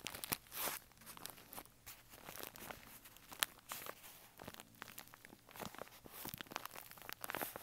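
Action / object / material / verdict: scrape / kraft paper bag / paper / none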